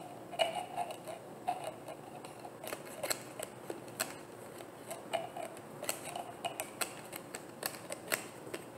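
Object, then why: Plastic bottle tapped with fingernails. A hollow, frosted white plastic bottle with a black cap is tapped with long nails in a quiet, irregular series of light, sharp clicks. Each tap has a bright attack and a faint hollow tone around 650 Hz that dies away almost at once, over a soft background hiss.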